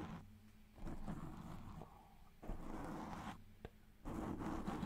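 Fingertips and nails of both hands scratch and rub a soft, porous black foam windscreen on a microphone, cupping it closely. Heard are muffled, bassy scratching and rubbing bursts with a low hum, rising in three louder stretches and falling back to quieter rustling.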